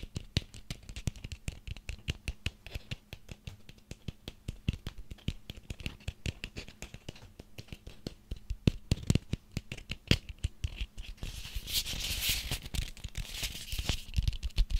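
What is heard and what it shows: A small ribbed orange pumpkin is held up in both hands while fingertips and nails scratch and tap its ribbed skin, giving a rapid run of short, dry taps with low thumps. Around the twelfth second the scratching grows into a denser, brighter rasp before the quick tapping resumes.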